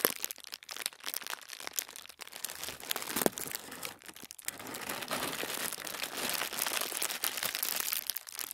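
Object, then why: Thin tissue paper sheet. A crinkled sheet of thin white tissue paper lying flat on a wooden table is rubbed and pressed with the fingertips of both hands. Soft, bright crinkling and crackling comes in dense, overlapping bursts that grow into a steadier rustle in the second half.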